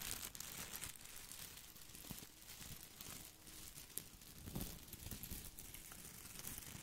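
Fingertips scratch and rub the small plastic leaves of an artificial boxwood topiary ball held close to the mic. The result is a steady, bright crinkling rustle with a low rumble underneath and a few sharper ticks throughout.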